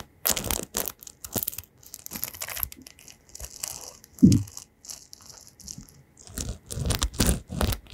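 An oval paddle hairbrush with metal pins and a printed picture on the back is turned in the hands while fingertips flick and scratch along the pin bristles. Short bursts of bright, crackly scratching come and go in uneven clusters, with one louder low thump near the middle.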